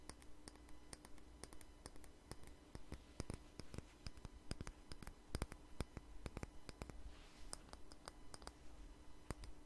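A small jar with a red label and lid, held in the hand, is tapped with fingernails, producing quick, dry, bright clicks at an uneven pace. The taps are short and quiet over a steady low hum.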